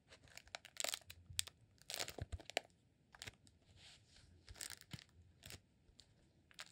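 Fingertips scratch and squeeze the surface of a green rolled honeycomb beeswax candle held diagonally. They make quiet, bright, crackly scratching and crinkling bursts with dry, papery crunches. Each burst stops abruptly, with short pauses between them.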